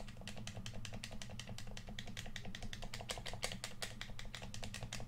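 A red plastic PS4 controller, hand-sized and hollow, is held in both hands while fingertips and thumbs rapidly tap and click it. The result is a quick, steady stream of short, bright plastic clicks with a soft low hum underneath.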